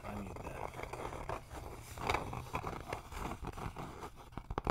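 A flat rectangular wooden sign with RELAX lettering, roughly 30 cm tall and made of a solid thin board, is held upright in both hands and tapped and scratched with fingertips and nails. The result is a steady, dry scraping texture broken by dull, short taps that die away instantly with no ring. The sound sits mostly in the low and middle range, with little high content.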